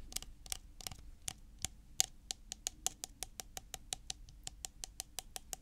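A white plastic tub with a blue plastic lid is held and tilted in the hands while fingertips and nails tap its body and lid. It makes 24 quiet, dry, bright ticking taps at an uneven pace, each dying away almost at once over a faint low background rumble.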